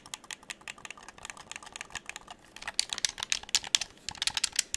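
A hollow dark blue plastic game controller is held in both hands while fingertips rapidly click its buttons and tap the shell. About 26 short, dry, bright clicks and taps come in an irregular run with almost no ring or low end, growing louder and denser in the second half.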